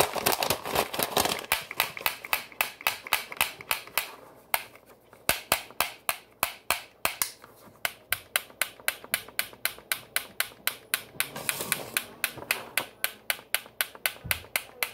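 A hollow black plastic flat iron held in one hand has its plates clapped shut over and over, making sharp, bright plastic clicks. About sixty quick snaps come at an uneven pace, with a brief lull partway through.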